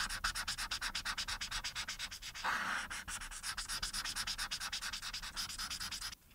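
A marker's felt tip, held in the fingers, rubs repeatedly over the face area of a thin printed paper coloring sheet lying flat. It makes a fast run of bright, scratchy back-and-forth strokes, with one longer, smoother rub near the middle. The strokes stop abruptly just before the end.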